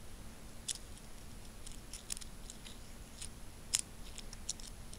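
A small stack of solid metal coins is held between fingertips while the fingers click and rub their edges together. Sharp, bright, very short clicks pop out at irregular intervals over a quiet bed of soft rubbing and low hum. A faint steady high tone runs underneath throughout.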